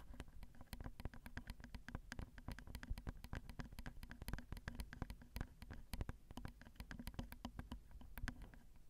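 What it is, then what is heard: Metal microphone grille tapped and scratched with a fingernail. A single long fingernail taps and scratches the left capsule of a Zoom recorder's XY microphone, whose small hollow metal grilles click under each touch. The result is a quiet, steady flurry of rapid, very short taps, mostly low and dull with faint bright clicks and a soft scratching texture between them.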